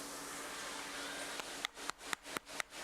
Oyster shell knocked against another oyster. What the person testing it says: makes a hollow sound when you knock it against another oyster